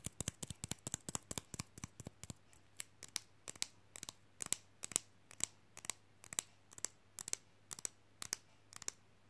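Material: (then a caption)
Plastic. A small, flat, glossy, rigid rectangular fridge magnet reading "I like big books" is held up and tapped quickly with long fingernails. Dozens of sharp, bright, very short clicks come in quick bursts and pairs. A faint low hum sits steadily underneath.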